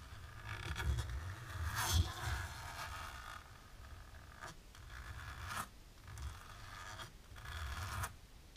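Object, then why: Embossed plastic film. Long natural pink nails scratch across a thin, dark, embossed plastic film resting on a table. Repeated raspy scraping strokes rise and fall, with a bright, textured rasp over a soft low rumble. Short crisp flicks sit between the longer swells.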